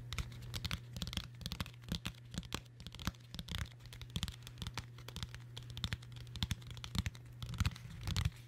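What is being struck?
Cloth-covered hardcover book.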